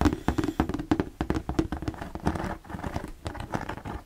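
Fingertips tap and scratch the white slotted panel of an empty, hollow plastic storage box held in both hands. The result is a quick, uneven run of dull, hollow taps with a low resonant tone, mixed with soft scratching. Each tap dies away almost at once.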